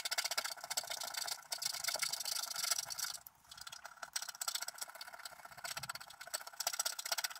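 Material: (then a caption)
Wax coating. A wooden stylus continuously scratches the black coating near the top of a flat wax-coated scratch-art card while the other hand holds the card down. The scratching is dry, bright and rasping, made of rapid, uneven strokes with no low end. It dips briefly quieter around the three-second mark before resuming.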